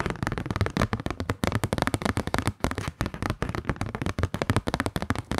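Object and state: Kraft paper card.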